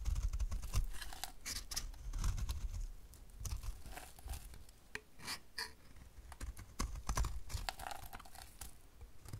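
A utility knife blade scrapes crumbly curls off a dry, solid rectangular white bar soap embossed "cosmia," held in the hand. The sound is a quick, irregular run of short, dry scraping and crackling strokes, with sharp bright clicks over a low, rough rumble.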